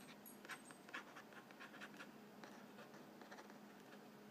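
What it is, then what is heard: Cardboard cracker box. A fingertip and nail scratch and tap the side of a hollow yellow cardboard cracker box held upright on its side panel. Soft, dry scratching runs throughout, broken by a few slightly louder light taps. A faint steady low hum sits underneath.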